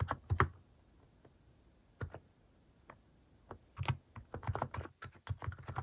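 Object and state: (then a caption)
Plastic mechanical keyboard being typed on. Fingertips type on a Hanmumu plastic mechanical keyboard fitted with cat-shaped plastic keycaps. About fifteen short, deep, thocky key presses come in irregular bursts, separated by a quiet pause of more than a second early on. Each press stops almost at once.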